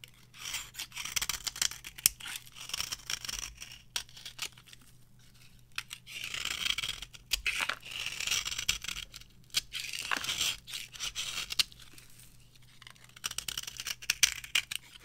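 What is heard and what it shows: A small metal blade scrapes shavings from the surface of a thin, solid slab of varnished dry orange soap held in the palm. Dry, crisp, bright scraping comes in bursts of quick crackling strokes, with short quiet pauses between them.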